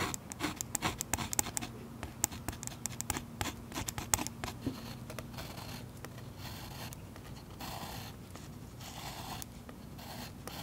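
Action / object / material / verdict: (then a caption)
scrape / oil pastel wax layer on paper scratched with a metal tip / wax pastel / none. A metal pen tip scratches grass lines into a thick green and blue oil pastel coating on paper over a solid flat surface, heard close-up. Quick, bright, dry scratches come in dense bursts for the first few seconds, then ease into a softer, more continuous waxy scraping over a faint steady low hum.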